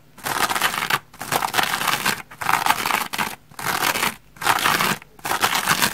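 Long red nails and fingertips scratch and squeeze the white textured back side of a dry rainbow foam sponge. Dense, bright scratchy crackling comes in repeated bursts separated by brief pauses, with little low end.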